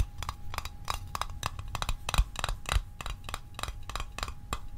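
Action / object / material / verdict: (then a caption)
tap / small metal mint tin / metal / none. A small hollow metal Altoids mint tin is tapped with the fingertips in a quick, uneven run of about eighteen short, dry taps, with a close-up toward the end. Each tap is a brief hollow tick with a bright metallic edge that dies away almost instantly over a low background rumble.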